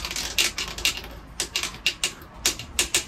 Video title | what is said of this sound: お前ちゃんと聞いとんのかっ‼︎職人から営業に来て2ヶ月‼︎順調に成長してるのか、今回はタイル点検の仕方を学んでいる姿をチェック‼︎本当に営業での仕事をしっかりお把握してるのか、店長からのダメ出しも⁉︎ | この高い音が鳴ってるところがタイル浮いてますよってことなんですよ